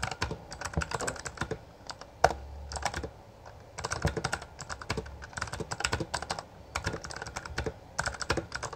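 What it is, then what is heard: Plastic mechanical keyboard. Both hands type continuously on a full-size black plastic Bloody B820R mechanical gaming keyboard with backlit keycaps and a hollow housing, fingertips pressing and striking the keys. Rapid bursts of short, sharp clacks with a hollow low thud come in quick runs separated by brief pauses. One heavier strike stands out with a deeper thump.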